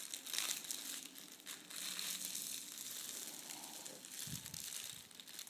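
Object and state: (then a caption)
Metallic foil wrapping paper being crinkled. A folded sheet of red metallic foil gift wrap is folded smaller and pressed with palms and fingers on a wooden table. It makes a steady, bright crinkling and crackling, with dense high rustle and little low end. Brief dull thumps come near the end.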